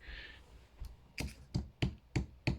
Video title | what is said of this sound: Storing squashes | That sounds quite solid at the moment.